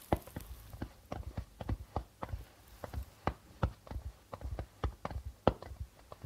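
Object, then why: Darbuka drum with plastic head. Fingertips of both hands tap on the white plastic head of a hollow darbuka drum. About twenty quick, soft, dull taps land in an uneven rhythm, each a short low thump that dies out almost at once.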